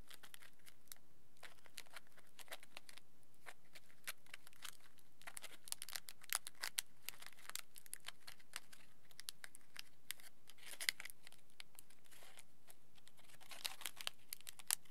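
A small crumpled ball of thick aluminium tin foil, held in both hands, is squeezed and rubbed with the fingertips. It produces a steady stream of quiet, bright, crisp crinkles and crackles, with brief denser bursts of crinkling throughout.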